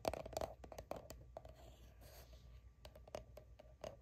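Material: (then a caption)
Soft plastic. Long nails quickly tap and scratch the label of a soft plastic sunscreen squeeze tube that appears filled. The result is quiet, irregular, rapid dry clicks with a hollow mid-pitched tone, mixed with short scratchy rasps that die away almost instantly.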